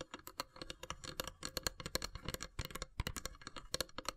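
Long silver nails tap and scratch the lid of a long, hollow, carved wooden incense box. A rapid, uneven run of dry, bright clicks with a hollow low knock underneath, mixed with soft scratching, each tap dying away almost instantly.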